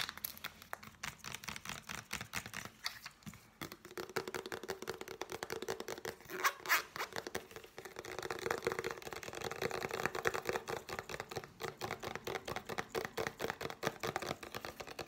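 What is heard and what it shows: Long painted nails rapidly tap and scratch a hand-sized, black soft plastic tube of body scrub that appears filled. The result is a dense, continuous stream of quick, dry clicks and scratchy rasps with a faint hollow plastic tone around 390 Hz and almost no ring after each hit.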